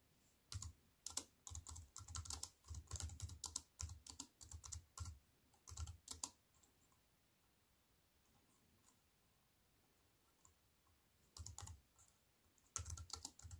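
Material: Plastic.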